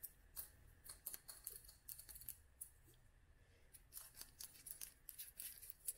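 Long nails tap a small clear glass dropper bottle filled with oil and dried flowers. The result is an irregular run of quick, bright, clicky taps that die away almost instantly, over a quiet low rumble.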